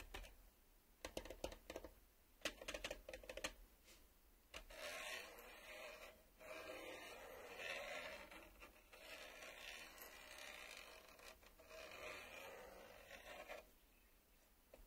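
A fingernail taps and scratches the top face of a black plastic VHS cassette lying flat on a table. It opens with a run of sharp, dry clicking taps over the first few seconds. Then come longer bursts of bright, raspy scraping that rise and fall in waves.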